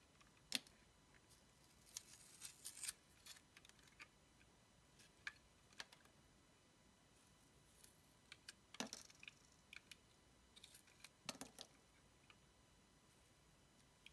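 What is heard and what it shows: A small dark blade scrapes and shaves pieces off a palm-sized yellow oval bar of solid soap with a paper Pusheen sticker, held in the hand. Quiet, bright, crisp scraping and shaving clicks come in short bursts and scattered strokes, with almost no low end and no ring.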